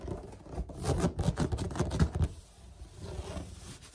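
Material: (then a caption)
Plastic. Short fingernails and fingertips scratch and scurry across a large, flat white plastic lid with an open woven lattice pattern, hollow underneath, possibly a laundry hamper lid, with the hands moving close at times. The result is a dense, low, hollow rustling and scraping with quick, dry scratchy bursts that peak in the middle, then fade to a softer, quieter scratching toward the end.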